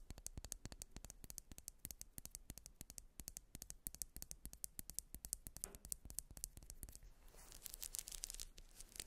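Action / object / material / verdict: scrape / wax pillar candle / wax / none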